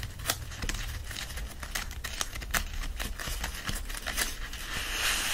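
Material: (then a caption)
Paper. An open paperback stands with a bundle of its paper pages held upright while palms clasp the bundle and rub it. A steady dry rustling and crinkling plays under a low rumble, with brief bright scratchy bursts throughout and a brighter hiss at the end.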